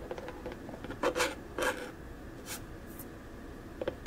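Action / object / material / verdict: scrape / small hollow plastic storage box / plastic / none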